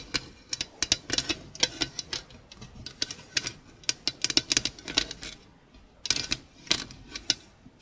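Long pink acrylic nails tap and scratch across the flat, perforated surface of a hollow sheet-metal stainless steel grater. The result is a quick, irregular series of sharp, bright metallic clicks and short scrapes that die away almost instantly, with very little low end and brief quiet gaps between bursts.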